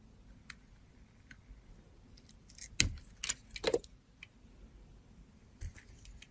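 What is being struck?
Bar of soap cut with a metal blade.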